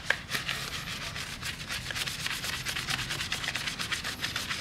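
A gloved hand rubs a small round brush over the face of a heavily foamed pressed-steel wheel on a 1993 Honda Civic Hatchback, working around the lug nuts and vent holes. Steady back-and-forth scrubbing strokes make a bright, wet, bristly hiss, with a faint low rumble underneath.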